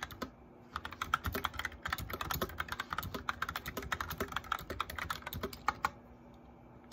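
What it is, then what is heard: Plastic mechanical keyboard. Fingertips and medium-length nails of both hands press the keys of a full-size white plastic mechanical keyboard with backlit keycaps and a hollow case in steady typing. The result is a quick run of short, dry, clacky taps centered around 1.3 kHz, with occasional low thumps from heavier strokes and brief quiet gaps at the start and end.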